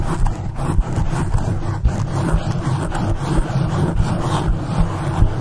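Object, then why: Foam microphone windscreen. Very long acrylic nails on both hands scratch and rub the soft, porous black foam windscreen of a standing condenser microphone in fast strokes. The result is a continuous dense, muffled rumbling scratch that is heavy in the low end, with brief bumps and no ringing.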